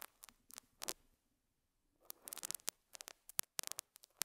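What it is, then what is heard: Felt pad scratched with a metal pick. A metal dental scaler hook scratches and picks at a small square beige felt pad on a lapel mic, making quiet, dry, bright scratchy bursts with almost no low end. A few scrapes come first, then a near-silent pause of about a second, then a denser run of sharp picks and scrapes that stop instantly with no ring.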